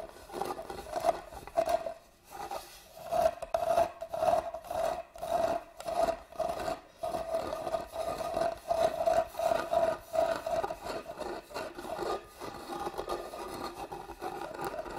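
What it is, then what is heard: Carved wooden box, scratched. Long nails scratch the deeply carved lid pattern of a hollow, hand-carved wooden box held upright. The sound is a rapid series of dry, raspy strokes with a hollow resonant tone around 650 Hz, repeating at an uneven rhythm of roughly 90 per minute over the 15 seconds.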